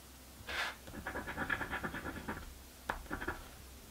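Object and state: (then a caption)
Scratch-off lottery ticket being scratched. A coin scratches off the grid squares of a paper crossword scratch lottery ticket. A broad scrape is followed by a quick run of short, rhythmic scratching strokes, then a brief pause, a sharper scrape and a few more strokes. The sound is dry, papery and mid-to-high pitched.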